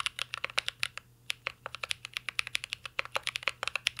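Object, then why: Mechanical keyboard with metal case and plastic keycaps. Two hands type steadily with their fingertips on a full-size mint-green Cyberboard R3 mechanical keyboard with a metal case, plastic keycaps and Holy Panda switches, resting on a desk. A quick run of short, bright, crisp clacks with almost no low end, each dying away instantly, pauses briefly near the one-second mark before continuing.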